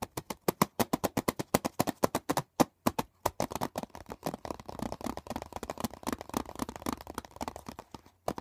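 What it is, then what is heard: Plastic CD case. Fingertips and nails drum fast on the top and edge of a closed, hollow hard plastic CD box set case lying on a blanket. Crisp, hollow plastic taps with no ring come as distinct, evenly spaced hits for about three seconds, then run together into a denser, quicker clattering flurry. A short pause comes before a couple of final taps.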